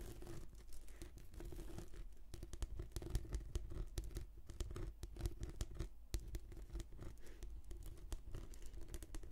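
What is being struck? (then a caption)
Rolled textured plastic mat. Long nails scratch and patter across a rolled, translucent, textured plastic anti-slip mat, held diagonally as a hollow tube. Dense, quiet scratches and quick taps run continuously over a low, steady rumble, with no ringing after each touch.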